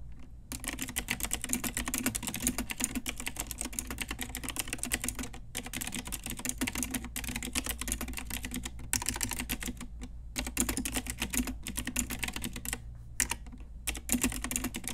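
Long nails and fingertips type rapidly on an Ajazz full-size pink mechanical keyboard with round plastic typewriter-style keycaps on a hollow plastic case. The result is a dense stream of bright, clicky taps with brief pauses, over a steady low hum.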